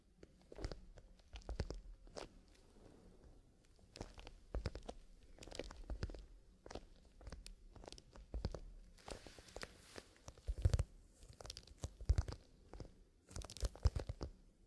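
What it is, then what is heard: Leather pencil case, scratched and tapped. Fingertips scratch and tap the leather surface of a soft, hollow black leather zipper pencil case held in both hands with the zipper closed. Quiet, crunchy scratching bursts mix with dry, short taps that have a soft, low, hollow thump and only a faint bright edge.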